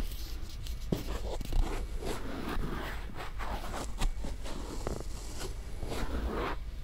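A cotton swab rubs and scrapes along the folds of a white silicone ear-shaped microphone on a round base, and long-nailed fingertips touch the ear. The result is a close, continuous scratchy rustle with a low rumble underneath and several sharper brief taps standing out.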